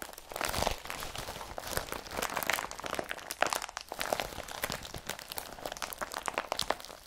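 Hands crumple a blue woven polypropylene IKEA BRATTBY carrier bag and scrunch it with their fingertips. The result is a continuous run of dry, crinkling crunches with sharp, bright plastic crackles and almost no low end.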